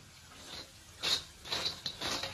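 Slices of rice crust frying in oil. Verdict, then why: Not crisp. Three-millimetre-thick slices of rice crust frying in oil give off a soft hiss broken by bright, high-pitched clattering bursts. Though their color already looks right, the sound shows the crust is still not crisp enough, so the heat is raised slightly to drive out more moisture.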